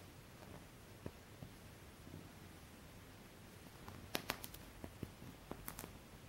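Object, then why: Embroidered cotton linen cloth. A single finger with a dark painted nail scratches along the raised cutwork stitching of a white embroidered cotton linen cloth laid flat. Faint, soft rustling runs underneath, broken by short, dry scratchy clicks that are sparse at first and cluster more densely toward the end, each one bright and dying away almost instantly.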